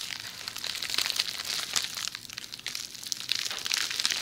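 Long nails scratch and tap the bubbles of a hollow, rolled tube of red plastic bubble wrap held beside a binaural microphone's ear. The result is a steady stream of bright, crisp crinkling and crackling, with sharper ticking taps over it and almost no low end.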